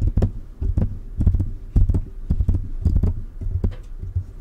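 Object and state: Metal condenser microphone being tapped.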